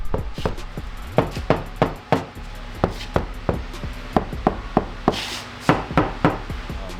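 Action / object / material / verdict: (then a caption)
knock / steel car door panel with butyl deadening mat / steel / damped. A steel door panel on a BMW E30, covered with three staggered layers of Killmat butyl sound-deadening mat, is knocked on about sixteen times at an uneven pace. Each knock is a dull, low thud that dies away almost at once, with little ring or brightness. Compared with the bare door, the panel now sounds massively different and well damped.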